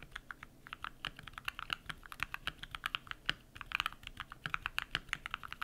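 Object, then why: Mechanical keyboard with plastic keycaps. Bare fingertips type rapidly on a compact modded mechanical keyboard with lubed switches and white PBT plastic keycaps. A dense, steady stream of short, crisp key clacks sounds bright around 1–3 kHz, each one dying away almost instantly.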